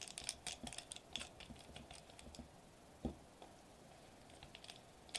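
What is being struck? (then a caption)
Foil-laminated plastic bubble wrap sheet. Fingertips tap rapidly on a sheet of foil-laminated plastic bubble wrap lying flat on a table. The quiet, crisp, bright clicks come in a dense cluster at first, then thin into scattered taps with one firmer tap near the middle. Each tap dies away almost instantly.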